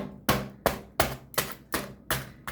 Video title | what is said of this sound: KOLAY PATATESLİ ÇITIR BÖREK. DENEYENLER ÇOK BEYENDİ .ÇOK NEFİS OLUYOR #börek | صدای ترد شدنشان را می‌شنوید، دوستان؟ این از خمیر فیلوی آماده است.